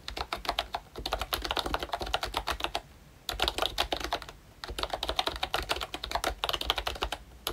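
Fingertips type continuously on a plastic retro membrane keyboard with round dark green keycaps, a cream frame and a Mickey badge. Dense, quick bright clicks come in bursts, with two brief pauses around 3 and 4.5 seconds.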